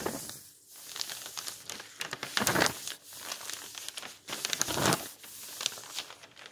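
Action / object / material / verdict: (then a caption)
scrape / bound volume of old paper magazine pages / paper / none. Fingers flip and fold over the old, yellowed paper pages of old magazines in a thick bound volume resting on a table, rubbing them flat with the palm. Bright, dry paper rustling and crinkling come in uneven bursts, with louder crackling swells as pages turn, separated by softer brushing between.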